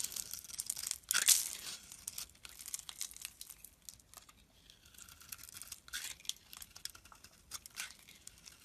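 A solid green-and-white striped bar of soap, held in the palm, is scraped with a metal utility blade into thin shavings. The result is a series of dry, bright, crackling scrapes and tearing rasps, loudest in a burst near the start, then continuing in softer, uneven strokes with almost no low end.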